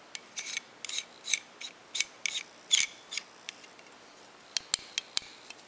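Fingers turn the knurled metal screw-lock sleeve of a dark solid metal climbing carabiner along its gate threads, the carabiner held close up in both hands. Short, bright bursts of grinding, ratchet-like metal rasping come in quick clusters, then give way to a few sharp, isolated clicks near the end.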